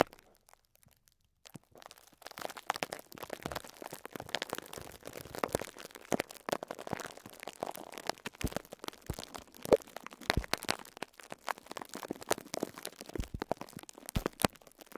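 Fingertips with short nails scratch and crinkle clear plastic cling film wrapped around a pink sponge. After a near-silent start, a dense run of soft crinkles, scrapes and sharp little crackles begins around two seconds in and carries on to the end.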